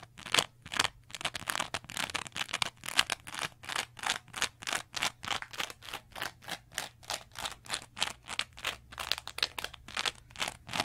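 A small green textured cellulose sponge, held in both hands, is scratched rapidly with long nails. It makes a steady series of dozens of short, bright, crunchy scratching bursts with no ring-out. A faint low hum sits underneath.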